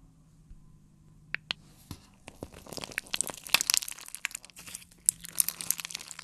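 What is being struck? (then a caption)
Clear slime ball with plastic beads. A palm-sized ball of clear slime packed with multicolored beads is held in one hand and squeezed and kneaded with the fingers. After a quiet start and a few isolated sharp clicks, it breaks into dense, bright, crunchy crackling and crinkly pops that continue to the end.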